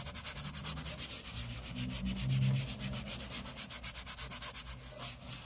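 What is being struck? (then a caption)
Laminate tabletop. Both hands rub their fingertips and fingers across a large, flat, solid grey laminate tabletop. The result is a steady run of quick, brushing strokes with bright, hissy friction over a low, droning undertone.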